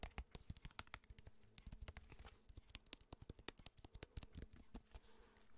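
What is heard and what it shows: A small, flat, printed cardboard box or packet, hollow and holding what seem to be cards, is held in the hand and tapped on its surface with fingertips and nails close to the microphone. A rapid, irregular run of dry, crisp taps follows, each stopping at once with no ring, mixing soft hollow thumps with bright nail clicks.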